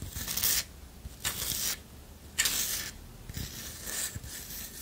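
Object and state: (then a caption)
Wooden disc coaster scratched with nails. A flat, round, solid wooden disc coaster held in one hand is tapped and scratched with long nails. Four bright, hissy scratching bursts come in an uneven rhythm, separated by quieter stretches with faint low tapping underneath.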